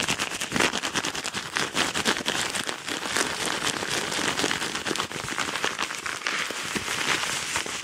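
A yellow Amazon kraft paper padded mailer envelope is scratched fast with the nails and squeezed with the fingers. The result is a dense, continuous run of bright, crackling scratches and crinkles with little low end and no clear gaps between strokes.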